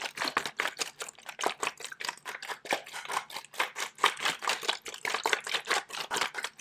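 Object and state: Plastic water bottle.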